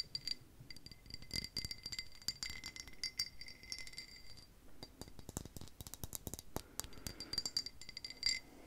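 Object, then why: Pressed-glass drinking tumbler. Long pink nails tap and click rapidly along the side and rim of a tall, empty green pressed-glass tumbler with an embossed pattern. The taps give quick bright chinks and rattling clicks over a faint high ringing tone that fades in a fraction of a second.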